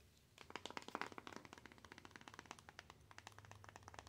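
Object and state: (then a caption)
Cardboard box tapped with nails. A small, plain, hollow, closed white cardboard box is held up and tapped with long acrylic nails. It gives a rapid, uneven series of short, dry, crisp clicks and taps that die away instantly, with a faint low hum underneath.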